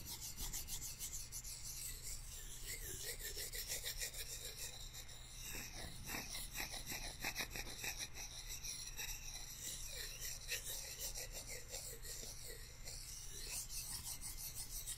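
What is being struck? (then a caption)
Pair of thin wooden chopsticks. A pair of thin, solid wooden chopsticks is crossed and rubbed against each other by hand close to a microphone. Dry, rasping scratch strokes repeat steadily, bright and grainy in tone, over a constant low hum.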